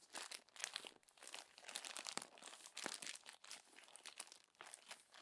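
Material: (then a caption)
Glossy paper. Crumpled glossy magazine pages are rolled and squeezed between two palms on top of the open magazine. The result is a steady run of bright, crackly crinkling and rubbing bursts with no low end, rising and falling in loudness throughout.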